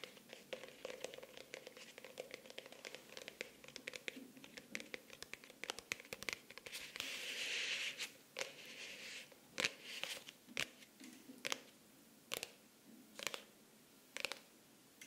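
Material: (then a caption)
Faux leather. Long nails scratch across the textured cover of a closed, solid pink faux-leather hardcover notebook close to the microphone. Dense, bright, crisp scratching clicks run through the first half, with a sustained hissy scrape around 7–8 seconds. After that come sparser, sharper separate strokes with short pauses between them.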